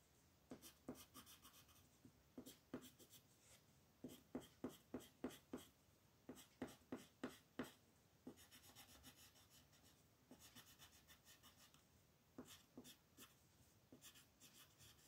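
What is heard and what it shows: A brown wooden colored pencil, held in a hand with long nails, is rubbed and scratched in short coloring strokes over a flat white paper mandala sheet on a table. Quick, dry scratches come in uneven bursts, with bright, papery edges over a soft rasp. Each stroke stops almost at once, with no ring.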